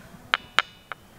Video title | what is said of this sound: Exploring Kochi in Shikoku, Japan - Nature, Foods & Poodles | when you hit the rock it doesn't sound like a rock it sounds metallic